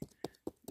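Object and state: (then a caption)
Hollow dead pine trunk. Four dull, low knocks on the trunk of a big, dead old pine tree that mushrooms are decomposing and that is full of bugs. Each short thump centers around 380 Hz and dies away almost at once, giving a hollow sound from underneath.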